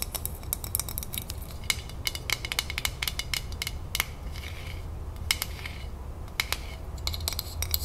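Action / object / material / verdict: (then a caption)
tap / glass jar with metal twist lid / metal, glass / none. Long nails rapidly tap and scratch the metal twist lid of a full glass salsa jar, close up. Quick, dry, bright clicks with a faint metallic ping near 2.2 kHz come in uneven bursts and die away almost instantly. Soft scratching and a steady low hum sit underneath.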